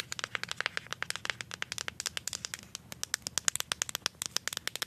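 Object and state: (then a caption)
Plastic deodorant stick. A handheld plastic deodorant stick with a paper-like printed label, likely full of product, is tapped and scratched on its side with paper clips glued on as long nails. A quick, steady stream of dozens of sharp, dry clicks sounds bright and thin, with no low thump. Each tap stops instantly with no ring, and a faint scratchy rustle runs between them.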